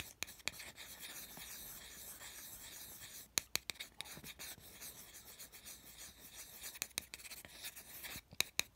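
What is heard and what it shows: A small, flat, heart-shaped MDF fiberboard ornament with a red edge and a jute string, held in the palm, is scratched and rubbed across its rough surface with the tip of a thin wooden stick. A steady, bright, hissing scrape runs throughout, broken by sharp, quick ticks and taps that cluster near the middle and end.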